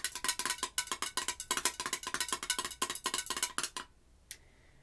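Long acrylic nails tap rapidly on the glass side of a pink, wax-filled Vanilla Pumpkin Marshmallow candle jar with a gold metal screw lid. About 27 bright, clicky taps with a short glassy ring around 1 kHz run for nearly four seconds. They stop, followed by a brief pause and one last faint tap.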